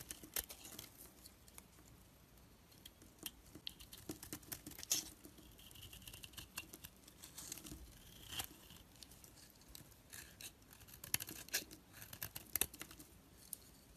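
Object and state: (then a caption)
Bar of soap being carved. A black blade carves and scrapes shavings from a solid orange bar of bath soap held in the hand. Quiet, dry, crackly scraping and crisp snaps are heard, mostly bright and high, with short sharp peaks scattered throughout and no ringing after each cut.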